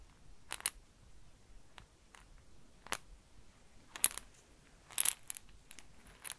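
A small clear glass jar with a cork stopper, filled with small hard yellow and white beads or pebbles, is held in fingers with long nails and shaken or tilted so the contents clink against the glass. Quiet, bright, very short clinks come in scattered bursts, some carrying a faint high ring, with near silence between them.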